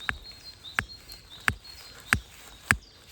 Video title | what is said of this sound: Один день - один смітник. Розвідка нових місцин | чуєте такий дзвінкий звук Таке враження що скло будемо розкопувати